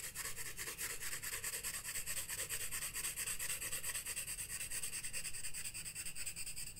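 A graphite pencil held in the fingertips shades the white page of a spiral-bound paper sketchbook lying flat on a wooden desk, with a loose paper sheet laid over part of it. The steady back-and-forth strokes make a continuous rhythmic rubbing and scratching with a bright, hissy high edge over a soft low rumble, pulsing evenly for the whole clip.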